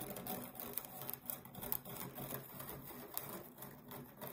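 A flat, solid round cork trivet or board about 20 cm across, held upright and flat, is scratched along its edge and face with long nails. It makes a quiet, steady, dry rasping scratch with brief sharper ticks scattered through it, in a loose irregular rhythm. The sound has a faint bright hiss on top and almost no ring after each stroke.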